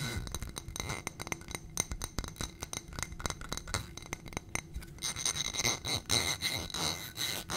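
A fingernail taps rapidly on a small ribbed glass footed dish on a gold stem, holding white contents, giving many quick, bright glassy clicks with almost no ring. Near the end the taps give way to brighter, scratchy, tinkling sounds.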